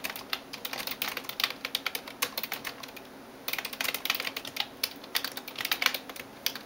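A hand types on a backlit plastic computer keyboard with fingertips and nails in rapid taps. The sharp, bright clicks fade almost instantly, coming in quick bursts with a short lull near the middle of the clip.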